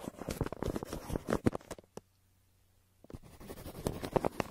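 A yellow wooden pencil held in the hand scratches and scribbles across a crumpled brown kraft paper shipping envelope lying flat on a table between two microphones. Dense, dry scratching and papery crinkling with a muffled, low-mid tone comes in quick irregular strokes, stops for about a second of near silence, then picks up again.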